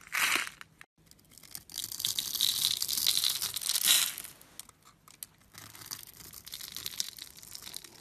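A solid blue and white striped bar of soap, scored in a grid and held in the fingers, is carved and scraped with a metal blade so small cubes crumble off. The sound is a bright, dry scraping and crackling in uneven bursts, with a sharp opening scrape, a louder sustained run of crunchy carving, and softer crumbling afterward.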